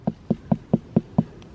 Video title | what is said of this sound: Pumpkin & Squash Harvest (& How To Tell When They’re Ready to Pick)!!! 🎃🙌🧡 // Garden Answer | give it a thump so if you hear a nice hollow sound that's another good sign that it's ready